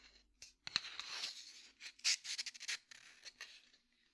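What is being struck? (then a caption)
Small cardboard matchbox. A small cardboard matchbox, held in the hand, is tapped and scratched with the fingertips. The result is a quick string of dry, bright taps and papery scratches, mostly high-pitched with almost no low end.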